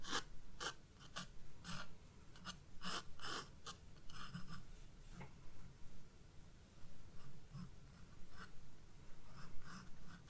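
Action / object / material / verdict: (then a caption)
scrape / graphite pencil on a paper sketchbook page / paper / none. A graphite pencil, held by a hand with red nails, scratches sketch lines onto the white page of a spiral-bound paper sketchbook on a wooden desk while the other hand steadies the book. Short, irregular bursts of bright, dry scratching come and go over a quiet, low background hum.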